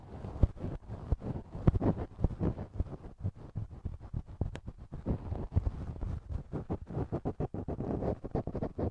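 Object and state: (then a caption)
Silicone ear model. A thin wooden earpick scratches and scrapes inside the soft, hollow canal of a right silicone ear model mounted on a binaural microphone, in repeated strokes. The sound is close and muffled, a deep, bassy rumble broken by quick crackling clicks, with almost no bright content.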